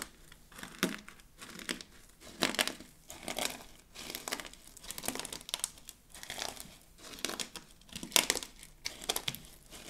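Palms and fingers press down on a wide, flat layer of mixed dry soap flakes, crushing them. The result is a series of bright, crinkling crunches that come in repeated presses.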